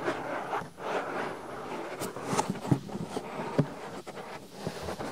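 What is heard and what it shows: Fingertips press, pinch and rub a soft white silicone ear on a binaural microphone. The result is a close, muffled rubbing and scratching that swells and fades in quick strokes, broken by two sharper, dull thumps. The sound stays mostly low and warm, with little brightness.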